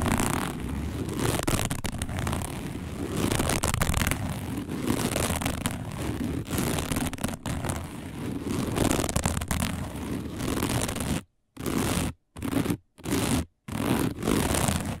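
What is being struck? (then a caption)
Coiled woven fiber placemat. Long nails on both hands scratch a round, dark, coiled woven fiber placemat, making a dense, continuous rasping scrape with a heavy low rumble and a faint bright edge. Near the end the scratching breaks into short bursts separated by brief silences.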